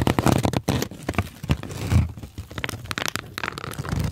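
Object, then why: Kraft paper sheet. A large light-brown kraft paper sheet is held close in front of the microphone and crumpled and rubbed with the fingers of both hands. Dense, crackling crinkles and rustles come in quick bursts over a soft, low rumbling body, with a longer smooth rubbing swell near the middle.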